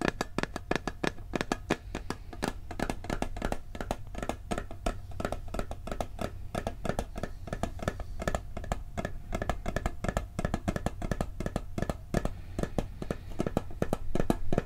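Fingertips and nails tap rapidly on the lid and rim of a hollow, round blue and gold metal cookie tin held close to the microphone. The taps are short, dry clicks with a low, hollow thump and almost no ring, coming in a steady, fast stream throughout.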